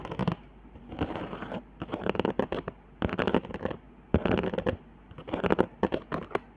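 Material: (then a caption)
Cardboard, hot glue. Long nails scratch along the raised hot-glue lines and dots of a flat cardboard trigger board. The result is bursts of dry, rapid scratching and ticking in clustered runs with short pauses between, the texture mostly low-mid with little high content and no ringing.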